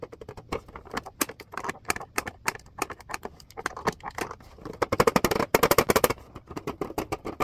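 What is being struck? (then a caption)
Plastic clipboard. Fingertips and nails tap rapidly on the front surface of a red plastic clipboard, producing dry, short clicks that stop almost instantly. The taps come in irregular runs and grow louder and brighter for a stretch in the second half before settling back to softer tapping.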